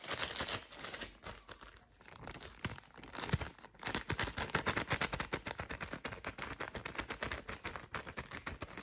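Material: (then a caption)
Plastic. A small, thin, flexible clear plastic ziplock bag, apparently empty, is held in both hands and crinkled and scrunched with long purple nails and fingertips. It makes a dense run of bright, crackling crinkles that dip quieter around the second mark, then build into steady, rapid scrunching.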